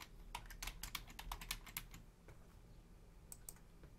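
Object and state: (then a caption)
Plastic computer keyboard. Long painted nails and fingertips type with both hands on a black plastic Logitech full-size membrane keyboard with a hollow casing, while the mouse sits untouched. A quick, irregular run of about fifteen short, bright, hollow clicks fills the first two seconds. After a pause over a low steady hum, a few more taps follow.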